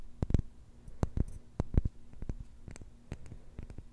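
A glass jar holding plastic beads is shaken and handled. It makes a quiet, dry rattling with scattered sharp clicks and clinks, some landing close together. The sound is low-weighted with no ringing after each contact.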